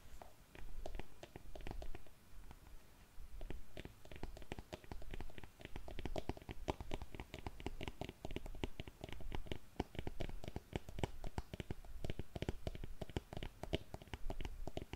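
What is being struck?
Patent leather stiletto pump.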